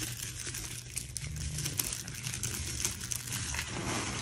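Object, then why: Soap curls and flakes. Hands crush and rub a heap of crumbled flakes from multicolored dried soap curls between the fingers. The result is a steady, bright dry crinkling and crunching with many small snaps over a low hum.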